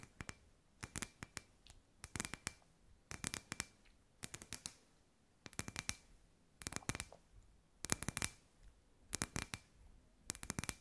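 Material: Glass.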